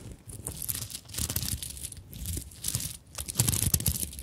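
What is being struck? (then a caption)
Sequin and bead covered fabric handbag. Long nails scratch and rub the sequin flap of a small fabric handbag covered in sequins and beads. Dense, bright scratching and crinkling comes in uneven bursts over a soft low rumble, with brief dips between strokes.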